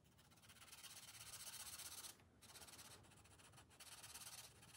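The felt tip of a blue marker, held in the fingers, rubs continuously across the thin paper page of a spiral-bound coloring book lying on a glass table while coloring. It makes a bright, hissy scratching in quick rhythmic back-and-forth strokes, with short pauses just after two seconds and around three and a half seconds before the strokes resume.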